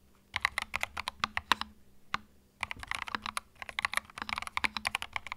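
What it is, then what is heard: Plastic mechanical keyboard being typed on. Fingertips type on a small white 65% Epomaker TH66 mechanical keyboard with plastic retro keycaps, a hollow plastic case and plastic switches, resting on a felt mat. Quick, bright, clacky keystrokes come in rapid bursts, each click dying away almost at once, with a brief pause near the middle broken by a single stroke.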